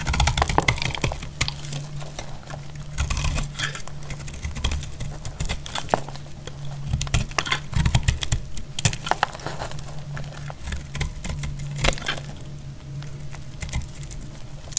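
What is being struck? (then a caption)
Soap bar cut with a metal blade. A solid, dry, dark brown soap bar held in the hand is cut crisply with a metal utility blade, and brittle flakes break off. The cuts come as a rapid series of short, dry cracks and scrapes with bright edges over a steady low hum.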